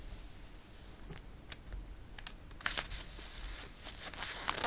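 A page of a glossy paper catalog is turned and a flat palm rubs across the paper. Soft, airy rustling and brushing fill the clip, broken by sharp, bright crinkles and snaps that peak near the middle and again at the end.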